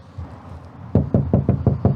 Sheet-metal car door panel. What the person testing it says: That's very tinny against something that's really nice and solid, and that's what the soundproofing does.